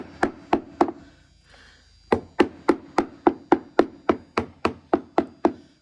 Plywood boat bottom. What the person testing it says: that's backed with another piece of plywood on the back side